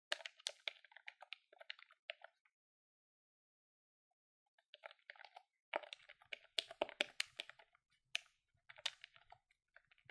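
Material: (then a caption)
Plastic. A hand-held silver-grey plastic desktop calculator with colored keys and a hollow housing has its keys pressed rapidly by fingertips with long nails. The result is quick bursts of sharp, bright plastic clicks with a hollow tick around 600 Hz. The bursts are broken by a pause of a couple of seconds.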